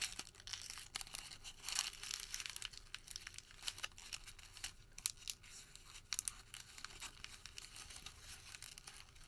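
A white thermal paper receipt is crumpled, then stretched open between both hands. The result is a steady run of dry, bright crinkling and crackling with quick sharp snaps, almost no low end, and each crackle stopping instantly.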